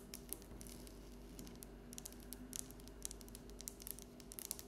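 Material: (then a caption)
Stone. Long acrylic fingernails of both hands tap and scratch across a flat, solid, polished speckled brown stone tabletop, likely granite. Quiet, bright, sharp clicks patter irregularly over a soft scratchy texture and a steady low hum, each tap dying away almost instantly.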